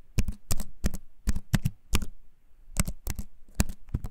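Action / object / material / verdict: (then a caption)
tap / keyboard with wooden frame and plastic keycaps / plastic, wood / none. A compact keyboard with a wooden frame and plastic keys is held up close and typed on with fingertips. About fifteen clicky keycap taps come in short bursts, with a pause in the middle. Each tap is a quick, low-bodied knock with a crisp bright click that dies away fast.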